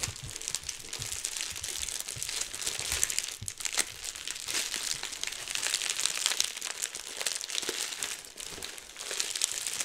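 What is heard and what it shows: Clear plastic bubble wrap is held in both hands while the fingers squeeze and pop the bubbles. A steady stream of bright, crisp crinkling and small snapping pops continues throughout, with almost no low-end body and each pop dying away almost instantly.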